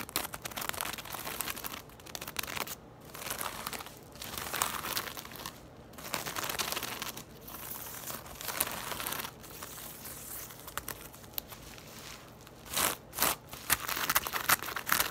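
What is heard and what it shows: Long nails scratch and tap along the ridges of a woven, braided straw tote bag lying on its side on a table. The result is a dry, crinkly rustle in uneven bright bursts, with a few sharper, louder taps toward the end.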